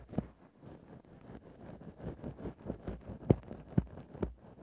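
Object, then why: Synthetic fur microphone windscreen. A thin bamboo ear-pick gently scratches and pokes a grey faux-fur microphone windscreen. The result is a soft, muffled, low rustling scrape, broken by a few sharper, dull thumps from the pokes, with almost nothing bright above it.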